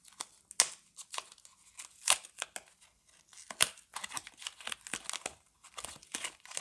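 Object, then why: Bar of soap in a paper wrapper. A single hand-sized Camay Natural bar soap in a paper and foil-lined wrapper is turned and rubbed between fingers with long glittery nails, crinkling the wrapper. Irregular bursts of bright, crisp crinkling and tearing-like rustles come in quick clusters with short quiet gaps and almost no low end.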